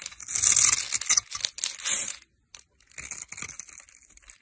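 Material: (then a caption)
Soap. A metal knife scrapes and cuts the top edge of a solid green bar of dry soap held in the hand, throwing off crumbly shavings. Bright, dry crumbling and scraping rasps come in bursts, with a short silence midway before softer scraping resumes.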